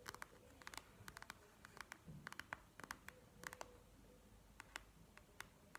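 Long nails tap and scratch on a plastic gel-bead eye mask resting on a table, with one hand at the end. A quiet, irregular run of short, bright clicky taps mixes with soft scratchy rustle, each tap dying out almost instantly.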